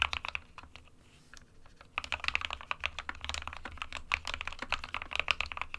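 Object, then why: Plastic mechanical keyboard. Fingertips of both hands type continuously on an SK61 small 60% mechanical keyboard with a plastic case and plastic keycaps, hollow with switches inside. Sharp, bright plastic clacks come in an irregular stream, sparse and quieter for the first two seconds, then quicker and louder. Each keystroke dies away almost instantly over a faint low hum.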